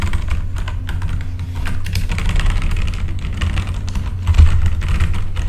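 Fingertips type on a full-size backlit mechanical keyboard with plastic keycaps, the hand moving across the keys. A steady run of quick clacks sits over a heavy low rumble, with a slightly louder burst near the end.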